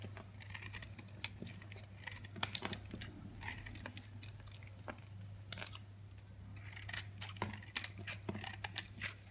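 A utility knife blade scrapes and shaves flakes off a hand-held solid red soap bar with a white polka-dot coating. Quiet, crisp, bright scraping and crackling ticks come in quick irregular bursts over a steady low hum.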